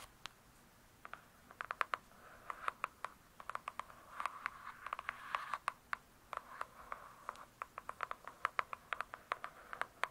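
Long pointed nails of both hands quickly tap and scratch a large, closed hardcover book with a glossy cardboard cover. Sharp, dry clicks with bright tops land in rapid, uneven bursts, with almost no ring. Between them, a soft scratchy rasp centred near 1.3 kHz swells midway through.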